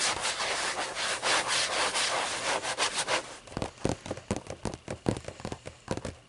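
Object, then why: Hardcover book, paper pages. Long nails scratch and rub across the paper pages of a thick hardcover book lying open. A steady, bright, dry rasp runs for about three seconds, then breaks into a quick, uneven series of short, crisp strokes and clicks on the paper.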